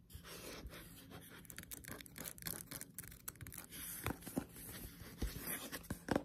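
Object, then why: Thick paperback book (paper). Long pointed nails tap quickly on the cover and edge of a thick paperback Death Note Black Edition manga lying flat. The dry, clicky taps and light scratches come in rapid, uneven bursts, with a few sharper knocks near the end, all over a faint steady low hum.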